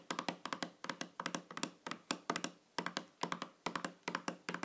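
Long fingernails tap on the top of a small, shiny round metal tin or lid lying flat on a table, giving 29 quick, bright clicks in uneven bursts of two to four. Each tap has a faint hollow metallic tone and dies away almost at once.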